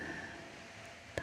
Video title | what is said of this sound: The ultimate TINGLES collection 💤 deep sleep ASMR and whispered triggers | can you hear the hollow sound? It's like fabric